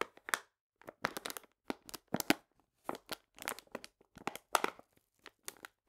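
A full paper cane sugar bag, held upright, is pressed and crinkled with fingertips and long nails. The result is a series of short, dry crinkling and crackling bursts, bright and papery with almost no low end, separated by brief pauses. Each burst stops quickly without ringing.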